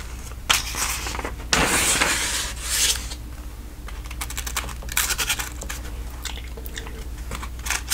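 Fingertips and nails turn and rub the thin printed ad pages of an open paper telephone directory. Crisp, bright rustles and scratchy scrapes come in bursts, with louder page turns standing out. A steady low hum runs underneath throughout.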